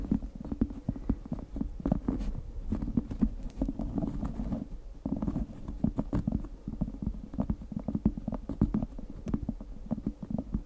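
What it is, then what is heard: Cork board scratched and tapped. Long acrylic nails on both hands scratch and tap the textured top of a round, flat, thin, solid cork board or coaster about 20 cm across, held horizontally above the microphone. A dense, low, muffled stream of quick dry taps and rough scratching runs throughout, with short bright clicks standing out.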